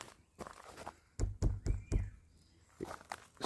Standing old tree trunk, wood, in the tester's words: If you listen, it's hollow